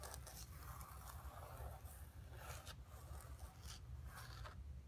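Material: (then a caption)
Canvas. Long nails rapidly scratch the surface of a flat painted canvas board lying on carpet. Quiet, dry scraping bursts with bright hiss come in quick, uneven strokes over a steady low rumble.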